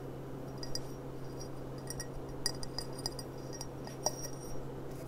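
A clear, empty gold-rimmed glass goblet is held upright by the bowl while long nails tap its thin glass stem and foot. The taps come as light, bright clinks with very short ringing, heard over a steady low hum.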